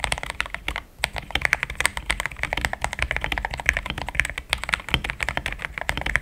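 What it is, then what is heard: Plastic mechanical keyboard. Fingertips of both hands type steadily on a compact pink-and-cream plastic mechanical keyboard with thick XDA-profile keycaps, Gateron Yellow switches and a polycarbonate plate, sitting on a desk mat. Quick, dry keystrokes clack in a dense stream with a midrange tone and bright edges, dying away instantly. There is a brief pause near the first second before the typing continues.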